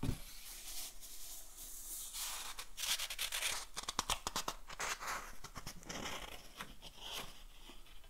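A thick old book with yellowed paper pages is held open in one hand while fingertips rub across the pages and turn them. Dry, bright papery rustling and brushing sounds run throughout, with a denser burst of quick, crisp scratchy crinkles and page flicks in the middle before settling back into softer rubbing.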